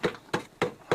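Four knocks on a large wooden piece of a structure buried in ice, each a short, hollow-sounding thud with a mid-pitched resonance around 480 Hz that fades quickly. The wood sounds hollow.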